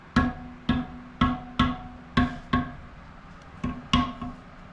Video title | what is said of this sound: How To Replace Spokes On Dirt Bike Rim | you can just tap on the spoke, and you should hear a little ding. They should all sound like that.